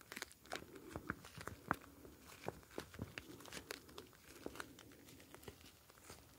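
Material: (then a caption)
Plastic. A hand-sized plastic gel bead ice pack, a clear flexible plastic pouch filled with small blue gel beads, is held up and squeezed and kneaded with fingertips. It gives off quiet, irregular crinkles of plastic and soft crunchy shifts of the beads. Short, sharp bright ticks stand out over a low, steady hiss.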